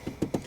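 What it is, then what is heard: Hard plastic interior trim panel. A hard plastic interior trim panel in a Mercedes C-Class 300e hybrid cabin is tapped twice, giving two short, dull, hollow knocks with a low-mid body and almost no ring. The hard plastic sounds a bit odd for a Mercedes, reflecting the car's overuse of plastic, one of its weak points.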